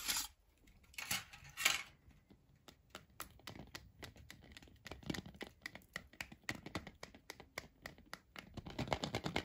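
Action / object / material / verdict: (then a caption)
tap / milk chocolate egg shell / chocolate / none. A large, unwrapped Kinder Surprise Maxi egg of milk chocolate, a hollow shell with the toy capsule inside, is held in one hand and tapped rapidly with the fingertips and short nails of the other. A few broad, bright scratchy bursts open the clip, then a fast run of short, dry, high clicks follows, each dying away almost at once and growing louder toward the end.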